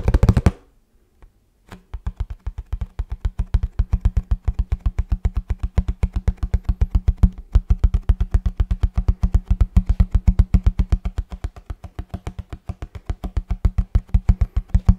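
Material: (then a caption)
Cardboard. Fingertips rapidly tap the printed surface of a hollow kraft cardboard box held in both hands. After a brief rushing burst and a short pause, about a hundred quick, dull, deep thumps follow in a fast, uneven rhythm. Each tap dies away almost at once, leaving a steady low drumming.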